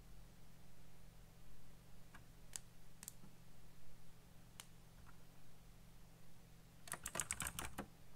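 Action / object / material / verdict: tap / plastic mechanical keyboard / plastic / none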